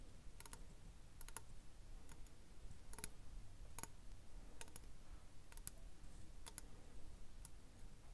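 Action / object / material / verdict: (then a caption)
tap / conch seashell / shell / none. Long nails tap and scratch the hard calcareous surface of a large, empty, hollow conch-type seashell with red and white stripes, held in one hand. Quiet, sharp, bright clicks come in quick pairs and short clusters over a steady low rumble, each dying away almost at once.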